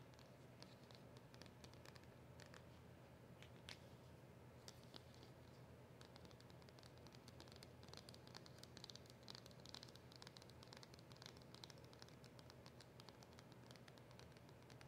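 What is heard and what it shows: Long nails tap and scratch across the front and printed back of a small, flat cardboard polishing cloth packet held close. The result is a quiet, steady stream of fine crackly taps and papery scratches, with bright clicks over a soft low hum.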